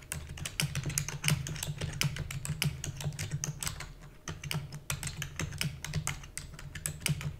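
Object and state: Plastic computer keyboard being typed on.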